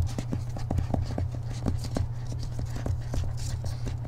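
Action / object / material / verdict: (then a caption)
tap / hardcover book with paper dust jacket / cardboard and paper / none. Fingertips and short nails of one hand tap quickly on the back cover of a thick hardcover book held upright, on its purple glossy paper dust jacket. The result is a rapid run of short, dry tapping clicks over a steady low hum.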